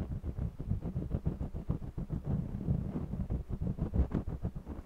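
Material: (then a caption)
Cotton canvas. A red jumbo wax crayon scratches and rubs across the textured surface of a small stretched cotton canvas on a mini easel while coloring. The result is a steady run of quick, low, dull scraping strokes that pulse back and forth with almost no bright or high content.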